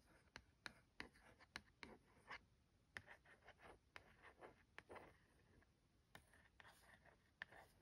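A fingertip traces the printed map on the cardboard packaging of a Lap Map tea towel, then the hand rubs flat across it. It makes a quiet, dry series of short scratchy strokes with crisp ticks, followed by softer, broader rubbing swishes with almost no ring.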